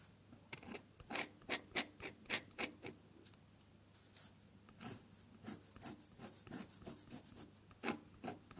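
A metal dip-pen nib, dipped in colored ink, scratches across a sheet of drawing paper while drawing flower petals. Quiet, bright, raspy strokes come in quick, uneven bursts with short gaps between them. There is little low-end weight.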